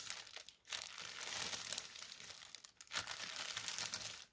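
Fingertips and short nails tap and scratch a strip of white tissue paper folded flat and lying on a table. A steady, bright crinkling and rustling runs throughout, with two brief dips before it picks up again.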